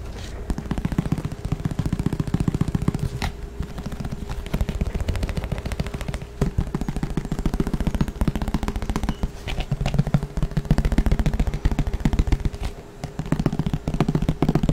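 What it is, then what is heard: Plastic frisbee. A green plastic flying disc, about 25 cm across and thin and hollow underneath, is held in one hand and tapped quickly with the fingertips of the other hand close to the microphone. The result is a dense, continuous stream of fast, hollow, low-pitched taps with very short decays that rattle on steadily for about 15 seconds.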